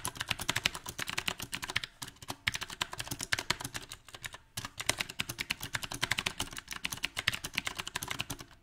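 Both hands type rapidly with their fingertips on a compact 68-key backlit mechanical keyboard with round plastic typewriter-style keycaps on a silver metal frame. The result is a dense stream of short, bright clicky key taps in an uneven rhythm, with brief pauses near two and four seconds.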